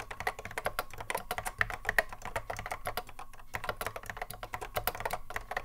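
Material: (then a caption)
Plastic. Fingertips of both hands touch-type continuously on a vintage cream Apple M0110A keyboard, a hollow plastic case with Alps SKCC mechanical switches, sitting on a wooden desk. A dense run of short, sharp clacks with bright upper-mid clicks and a hollow low thud, each keystroke dying away almost instantly.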